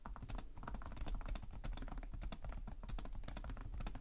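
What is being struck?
Plastic laptop keyboard.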